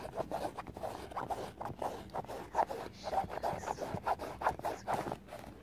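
Long painted nails scratch and tap along the canvas upper near the eyelets of an empty white Vans canvas sneaker with a rubber sole and laces. The result is a quick, uneven run of dry, raspy scratches and light taps centered in the midrange, with little low end and almost no ring after each stroke.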